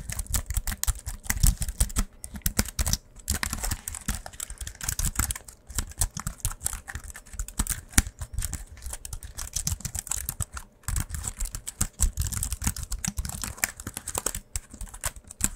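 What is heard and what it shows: A slim white wireless keyboard with a silver aluminium frame and plastic keys is held in both hands and tilted while its keys are typed and tapped with the fingertips. The result is a steady stream of quick, dry plastic clicks and soft low thumps, with bright tick edges and brief pauses near 3 and 11 seconds.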